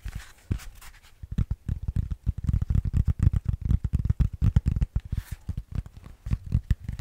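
A solid grey EVA foam yoga block, about the size of a brick, is tapped and knocked with fingers and nails. Dense, rapid clusters of dull, low thumps dominate, with faint bright clicks from the nails over a quiet background. Each knock is short and dead, with almost no ring.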